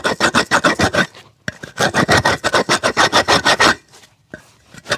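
A small red-handled rasp files the rubber sole of a worn black leather shoe, hollow and empty and held between the feet, in repeated scraping strokes. Quick, bright, gritty rasps come in two fast runs separated by short pauses, with a few more strokes starting at the end.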